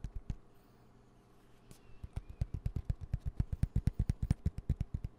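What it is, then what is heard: Nylon fabric pencil pouch. A dark green padded nylon pencil pouch with a yellow zipper, held upright, is tapped and scratched with fingertips and nails. A few soft, dull taps open the clip, then a quiet stretch of faint scratching, then a quickening run of short, muffled, low thumps, about thirty in all, growing louder toward the end.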